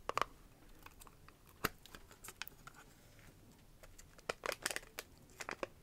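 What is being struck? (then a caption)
Small hard-plastic nail case. Long nails tap and scratch a small, clear hard-plastic press-on nail case, then its lid is opened and the plastic is tapped. Quiet, dry, bright clicks and ticks come in scattered bursts over a soft background, with each tap dying away almost instantly.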